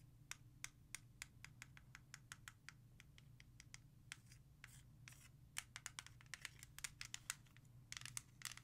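A music CD in a small, hollow, clear plastic jewel case is tapped and scratched with long nails. Rapid, crisp clicking taps come in a steady run, broken by brief bright scratching strokes over a faint, constant low hum.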